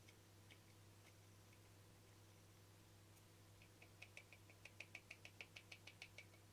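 Fingernails tap and scratch the face and ridged rim of a small, round, hollow, translucent frosted plastic lid held in the fingers. A few faint, scattered taps give way to a quick, fairly even run of about a dozen crisp, bright clicks centered near 2.5 kHz. Each click dies away almost instantly over a steady low hum.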